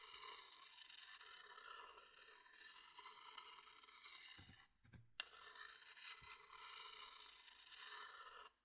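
A thin wooden stick is held upright inside a medium-sized, empty, hollow, dark-grained wooden bowl in front of a binaural mic and rubbed and scraped against the bowl's inner surface. It makes a steady, bright, rasping scrape that breaks off briefly near the middle, then a sharp tick marks its return, and it continues until it stops at the end.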